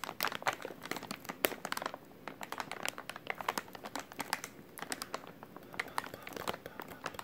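A soft, hollow white plastic-film packaging pouch with printed text is held in both hands while fingertips squeeze and crinkle it. The result is a steady stream of quiet, sharp, bright crackles with almost no low end, thinning out briefly around the two- and five-second marks.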